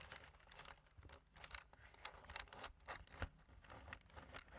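Fingertips tap the black plastic keys of a slim plastic computer keyboard in a typing motion. A quiet, steady run of short, dry clicks blends soft low thuds with bright ticks, with one sharper, louder tap near the end.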